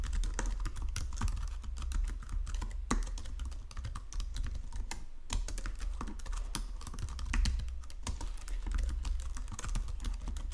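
Fingertips with painted nails type steadily across the low-profile keys of a full-size white and silver plastic Logitech keyboard resting on a marble desk. The result is a continuous stream of quick, short-decaying clicks and taps over a steady low hum.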